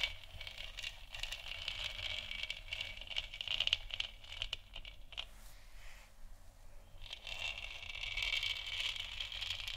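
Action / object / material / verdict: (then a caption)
scrape / hollow plastic lamp sphere / plastic / none. Long nails of both hands scratch and tap the surface of a lit, hollow plastic moon lamp sphere. A dense, bright, crinkly scraping runs throughout, with quick light taps mixed in. It eases briefly around six to seven seconds, then the scratching returns steadily.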